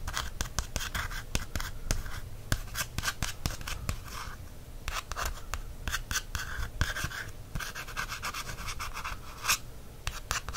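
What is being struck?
Paperback book cover, card.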